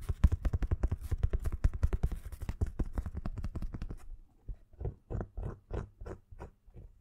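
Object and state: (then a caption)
Fabric pencil case. A black nylon fabric pencil case is held in the hands and tapped and scratched with fingernails. About four seconds of rapid, dull, low thudding taps with a soft rustle give way to slower, quieter, separated scratching strokes.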